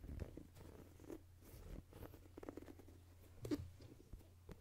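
Fingertips and nails tap and scratch the rubber outsole of a white and black Jordan sneaker held sole-up beside the microphone. Soft, close taps and scratchy rubs sit over a steady low hum, with a few louder taps standing out.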